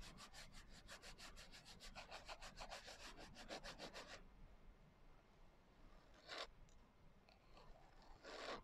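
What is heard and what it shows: Long nails rub and scratch quickly back and forth across the coarse glitter cover of a closed hardcover journal, making a steady run of bright, rasping strokes for about four seconds. After a quieter pause, two louder, isolated scratches follow.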